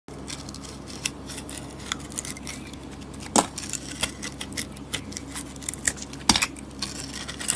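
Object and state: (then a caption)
Soap bar being carved. A palm-sized solid soap bar with a purple glitter coating is held in the hand and shaved with a metal box-cutter blade, carving through to the white soap underneath. Crisp, bright scraping and short crackling cuts come at an irregular pace, with a few sharper snaps standing out over a soft, steady low background.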